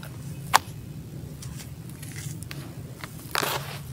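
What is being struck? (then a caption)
Sand-cement crumble in a plastic tub. Bare fingers scoop, rub and drop handfuls of dry, granular sand-cement crumble back onto the pile in a teal plastic tub. A sharp, bright crunch is followed by soft gritty rustling and scraping over a steady low hum, then a second louder crumbling burst near the end.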